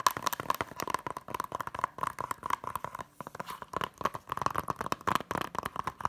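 Long nails and fingertips rapidly tap and scratch the front cover of a small, flat, hollow blue plastic Hunger Games Blu-ray keep case. The result is a dense run of crisp, dry clicks with light scratchy crinkling between them. Each click carries a faint hollow ring around 1 kHz that dies away almost instantly.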